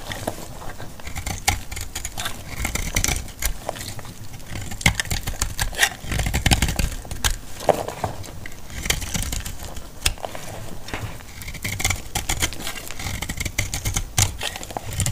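A utility knife blade cuts and scrapes brittle chips off a solid, dry yellow bar of antibacterial laundry soap. Dense, crisp crackling and scraping fill the clip, with sharp clicks and snaps from the breaking chips over a steady low rumble.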